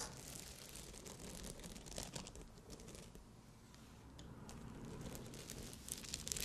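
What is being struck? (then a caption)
Padded fabric cup covered in small glass rhinestones. Long glossy nails scratch and tap across a padded bikini cup covered in small Swarovski crystal rhinestones. The result is a dense, bright crackle of fine scratching and tiny clicks that dips quieter midway, then returns with sharper taps near the end.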